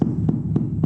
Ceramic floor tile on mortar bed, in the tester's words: that's empty underneath this will crack under weight right here